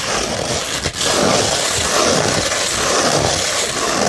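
A curved beige 100-grit sandpaper sheet is scratched with the nails and fingertips, giving a steady, dense, gritty scraping hiss that is bright and high. There is a brief dip just before the one-second mark, after which the rough scratching continues evenly to the end.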